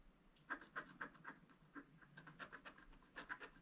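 A wooden stylus scratches a flat black sheet of wax-coated scratch art paper near some gift boxes. Quiet, quick strokes make dry, bright rasping bursts in an uneven rhythm of about four per second. Each stroke fades almost instantly.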